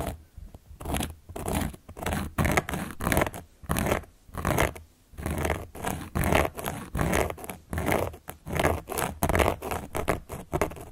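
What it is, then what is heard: Cork board scratched. A carving tool held upright by long nails traces and scratches across the surface of a large, round, solid cork board. Repeated dry, rough scraping strokes rise and fall in steady bursts, with a broad hiss over a low rumble and short pauses between passes.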